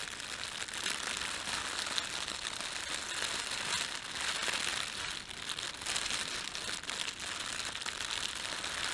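Fingertips rub and crumple the film of a thin, empty, red printed plastic bread bag. The result is a continuous, bright crinkling and rustling with almost no low end, holding a steady level with a brief softer dip around the middle.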